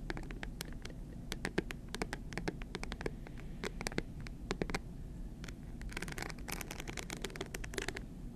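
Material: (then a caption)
Rhinestones. A small, hard, seemingly hollow clutch purse covered in rhinestones and shaped like a stack of bills is held in both hands and scratched with long green acrylic nails. Fast, crisp ticks and scratchy clicks patter over a low rumble, with a denser flurry of bright scratching near the end.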